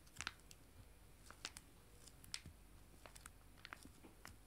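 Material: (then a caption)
Foil laminate. Two small, joined, full foil-laminated wet wipe sachets, held in both hands, are tapped with fingernails. The result is a scattered series of short, dry, bright clicks and light crinkles with almost no ring, over a quiet low background.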